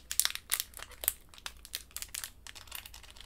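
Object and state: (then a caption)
Crinkling plastic candy wrapper. A small pink candy in a crinkly plastic wrapper is held between the fingertips and squeezed and crinkled with long white nails. The result is a quick run of sharp, bright crackles and crinkles with almost no low end, each snap dying away instantly.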